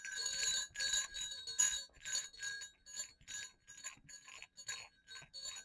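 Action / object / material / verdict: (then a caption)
shake / small metal jingle bells / metal / none. Two small hollow silver metal jingle bells hang on a cord against black fabric and are shaken and clicked together. About twelve bright, high jingling bursts come in an uneven rhythm, each ringing briefly before it fades, with the first few louder and fuller than the later ones.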